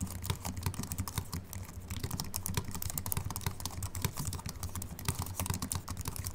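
Continuous two-handed fingertip typing on a slim Apple Mac keyboard with an aluminium body and white plastic keys. Rapid, short, crisp key taps with bright clicks sit over a steady low hum.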